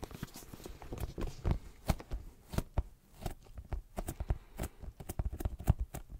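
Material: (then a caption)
Leather. Fingertips tap on a brown leather zip pouch held close to the microphone. A quick, irregular series of soft, dull, low thuds comes through, with faint bright clicks on some taps. Each tap dies away almost instantly.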